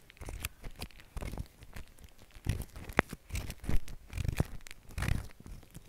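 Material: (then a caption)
Foam. Fingertips press, squish and smear a large, soft mound of white shaving cream foam spread on plastic wrap. The result is a series of soft, wet squelching and crackling pops, mostly low and muffled with brief bright crinkly edges.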